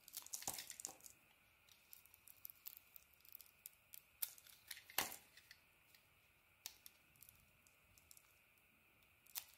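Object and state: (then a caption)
Bar soap being scraped. A utility knife blade shaves and scrapes the green honeycomb-textured coating off a hand-sized solid bar of soap with an orange inside, held in the palm. Quiet, bright, crisp scraping and shaving strokes come at irregular intervals, with a few louder, sharper cuts standing out. Each stroke stops almost at once against a near-silent background.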